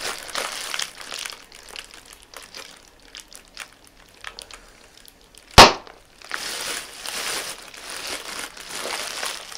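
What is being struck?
Plastic air cushion packaging bag.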